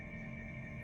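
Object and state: Nothing is struck.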